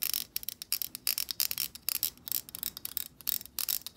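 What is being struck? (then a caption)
Plastic hair brush bristles. Long acrylic nails flick and strum the tips of a black plastic hair brush's stiff plastic bristles while it is held horizontally. About twenty quick, crisp bursts of bright, high ticking and rattling sound, each cutting off almost instantly, with almost no low end.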